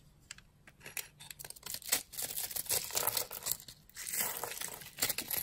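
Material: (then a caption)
Soap. A yellow-handled blade cuts and scrapes a grid into the dry surface of a solid, palm-sized orange bar of soap held in a hand with long glittery nails, knocking crumbs loose. The sound is a dense run of crisp, bright scratching and crackling with short ticks, growing busier and louder as the scraping goes on.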